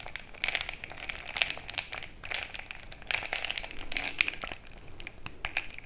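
A bamboo stick is jabbed up and down into crushed ice filling a frosted glass mason-jar mug. The result is a continuous stream of bright, crackly crunching, with sharp glassy clicks ringing out now and then as the stick strikes the glass.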